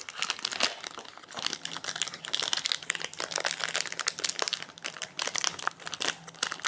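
Fingertips crinkle and rub the plastic, foil-lined wrapper of a solid orange Quest protein bar and its crimped seam as it rests on a granite counter. The result is a dense run of bright, crackling crinkles and rustles with brief snaps and no low end, while another wrapped bar lies untouched nearby.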